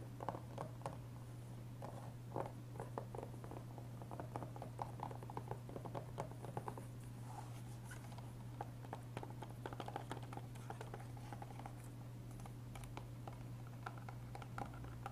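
Fingertips tap the front of a closed, hollow, blue-tinted plastic PS3 game case (Batman Arkham Asylum) resting on a wooden table, then pick it up, flip it over, and tap and handle the back. The result is a quiet stream of light, dry, hollow plastic taps and scratchy handling noises over a steady low hum.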